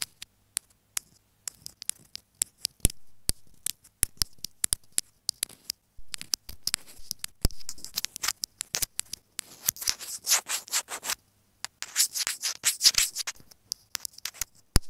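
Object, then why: Plastic earphone inline microphone. Long fingernails tap and scratch a small white plastic inline microphone on an earphone cable resting on a bed cover. Rapid, sharp, dry clicks with almost no ring are mixed with bright, hissy scratching, which grows denser and rougher in the second half. A brief pause interrupts the scratching just past the midpoint.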